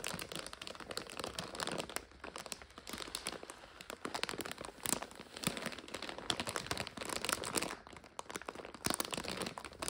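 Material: Plastic.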